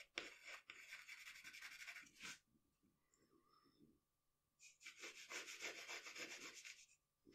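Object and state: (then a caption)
Pencil shading on drawing paper. A pencil shades an eye on a sheet of drawing paper resting on a table, making quick, short rubbing strokes. The strokes produce a bright, hissy scratching in two bursts, separated by a quiet pause of about two seconds.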